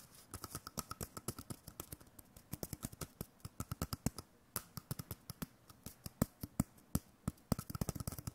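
A hollow, empty cardboard roll core about 10 cm long, wrapped in white paper with a drawn face, is held in one hand and tapped quickly with the fingertips and nails of the other. About fifty short, dry, hollow taps come in irregular bursts, each with a low body near 200 Hz and a brief bright click that dies away almost instantly.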